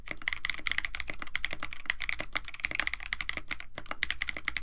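Two hands type continuously with the fingertips on a compact 65% KBD67 Lite mechanical keyboard with a white case, blue and white PBT plastic keycaps, an FR4 plate and Techno Violet switches. The result is a steady, rapid stream of short, crisp clacks with a bright tone centered near 1.9 kHz, over a faint low background hum.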